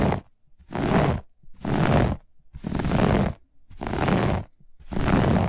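One hand with long nails scratches a grey-beige looped pile carpet, the hand partly leaving the frame. Six rough, rustling strokes, the first one cut off at the start, come at a steady rate of about one per second. Each has a deep rumbling body and a bright scratchy hiss, with short quiet gaps between them.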